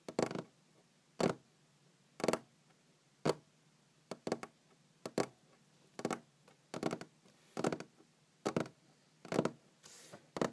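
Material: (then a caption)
Wood. Long green-painted fingernails tap on a large, solid wooden tabletop. Short, dry taps and small clusters of taps land roughly once a second at an uneven pace, with a mid-range knock and bright clicky nail edges. Each tap dies away almost at once, with a soft low hum between them.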